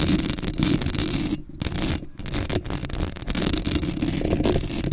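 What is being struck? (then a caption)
Metal mesh microphone grille scratched with nails. Long acrylic nails scratch the hollow metal mesh grille of a black Blue Yeti microphone right up close. The result is a dense, continuous scraping and rustling texture with a heavy low rumble and bright, gritty edges. The scraping drops out briefly twice before resuming.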